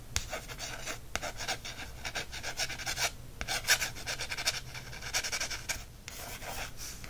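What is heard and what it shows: Fingertips rub and trace over the coated card cover of a small "Birds of North America" pocket paperback field guide held in the hand. The result is a dry, bright, raspy scratching in quick overlapping strokes, with a few louder swipes rising above a soft, steady friction hiss.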